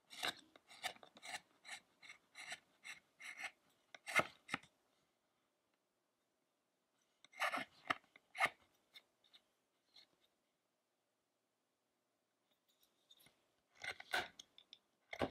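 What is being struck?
Carved wooden statue.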